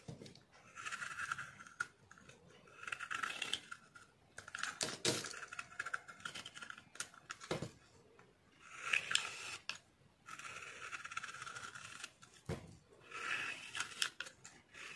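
A metal utility blade carves and scrapes thin curls from the edge and surface of a solid green Vim dishwash soap bar held in the hand. Dry, bright scraping bursts come in several bouts, broken by sharper clicks and short quiet gaps.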